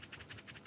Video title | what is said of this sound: Over 2 Hours of James May Quietly Fixing Stuff - The Reassembler - Season 1 Compilation | That is the sound of carbon granules inside there.